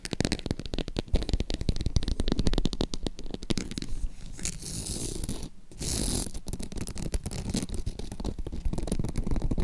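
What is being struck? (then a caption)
Croc-embossed leather zip purse. Long acrylic nails scratch across the surface of a green faux croc-embossed leather zip purse and along its zipper edge. The result is a dense run of rapid, dry, low-heavy scratching strokes with a brief lull around the middle before the scratching resumes.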